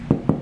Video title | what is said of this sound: How to make crusty rye bread | it sounds hollow